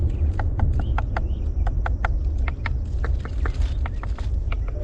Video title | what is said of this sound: This Airgun is Crazy! Beeman Commodore .22 | So plastic stock is pretty solid sounding. Listen to this.